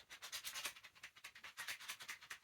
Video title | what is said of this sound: A Card Ring Thing // Tutorial | loosen your grip and they can hear their ring they know it's in there